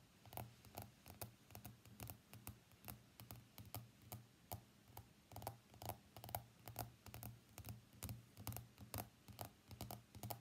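Fingernails tap the glass screen of an iPhone X lying face up on a black desk mat, making quick, dry clicks at an uneven pace of about two per second. Each tap is short with almost no ring and a light, mid-pitched tone, over a steady low hum underneath.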